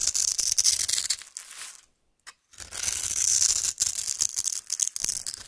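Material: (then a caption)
Soap. A metal knife blade cuts and scrapes the surface of a solid oval pink soap bar held in the hand, shaving it into flakes. Dense, bright, crisp scraping and crackling fills the first two seconds, then drops to near silence with one faint tick before resuming. The sound ends in a series of uneven, rapid scraping strokes.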